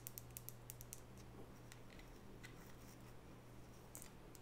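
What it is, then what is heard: Wooden nail brush tapped with fingernails. Long natural fingernails tap on the solid wood body and edges of a small oval wooden nail brush with light natural bristles, held in both hands. A quick run of sharp, bright clicks opens the clip, followed by softer, scattered taps. A steady low hum sits underneath throughout.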